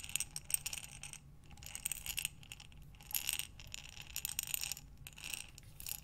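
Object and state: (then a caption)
Glass jar of buttons. A glass mason jar with a metal lid, filled with buttons, is held sideways and slowly rotated by hands with long dark nails. The buttons clink and rattle in soft, bright bursts of many small overlapping clicks with quieter pauses between.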